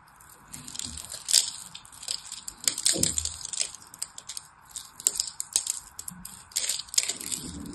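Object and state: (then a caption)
Bar of soap being cut and crushed. A knife blade carves and crushes a solid purple-and-white striped soap bar into small cubes. Rapid, dry, bright crunches and crisp cracks come in irregular bursts, with a few sharper snaps standing out. A faint steady hiss sits underneath throughout.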